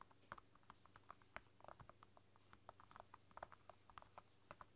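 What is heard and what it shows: Fingertips and long nails type on the soft keys of a flexible, translucent silicone roll-up keyboard with pink keys, with the hands briefly lifting away. About two dozen quiet, short, muffled taps and clicks patter irregularly over a faint low hum, each dying away almost instantly.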